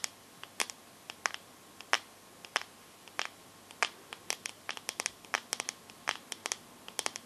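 Long nails tap and scratch the glass back of a teal smartphone held close up. They make a quiet, irregular run of sharp, bright clicks centered around 1.7 kHz, with very short decays and light scratchy texture between taps.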